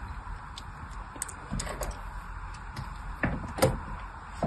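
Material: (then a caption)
Soap. A fine blade scores curved and parallel lines into a solid pink bar of soap held in the hand. Soft, dry scraping and short, light scratches and clicks ring out over a low rumble, with a few brighter strokes standing out.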